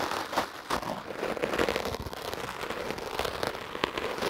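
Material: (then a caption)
Foam. A foam microphone windscreen held in the hand is brushed with a wooden, hard-bristle clothes brush. Rapid, scratchy strokes produce a dense, crackling rasp with sharp, bright transients.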